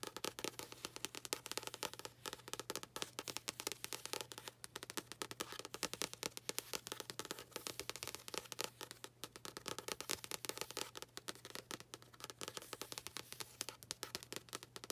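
Long nails tap and scratch the paper surface of a paperback book, open to its printed inside cover or first page. The result is a dense, continuous stream of quick, dry, bright scratches and clicks, with a faint steady low hum underneath.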